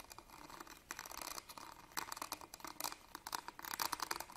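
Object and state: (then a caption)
Metal purse clasp frame. Fingernails scratch along the ribbed gold-coloured metal clasp frame of a small, hollow embroidered fabric purse held upright. A quiet, fast run of dry, scratchy ticks with a bright edge and almost no low end. The bursts grow a little louder toward the end.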